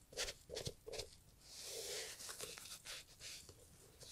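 A gloved hand rubs the upper of a brown Italian leather loafer with a small green sponge. Quiet, bright, scratchy strokes come in short bursts, then a longer sustained rub and a few lighter swipes.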